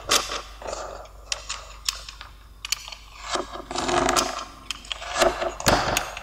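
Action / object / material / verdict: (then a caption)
scrape / kinetic sand brick cut with a knife blade / kinetic sand / none. A small, solid pink Lego-shaped brick of kinetic sand on a white surface is cut into slices with the metal blade of a yellow utility knife while a fingertip steadies it. The blade presses and scrapes through the sand with gritty, crunchy rasps and sharp, bright clicks over a quiet background, each stroke fading quickly.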